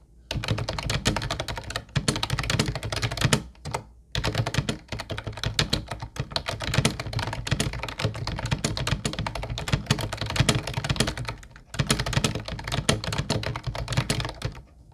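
Both hands type with fingertips on a mint-blue plastic Ubotie retro keyboard with round white keycaps. Rapid, steady clacks with a low, hollow thock and short, dry decay come in bursts, broken by brief pauses.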